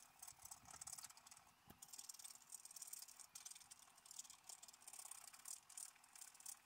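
A wooden stylus scratches the coating off a thin, solid, black-coated scratch-art paper page lying flat, revealing colour underneath. The result is a quiet, dry, bright scratching made of rapid, rasping strokes that overlap into an uneven, continuous texture with almost no low end.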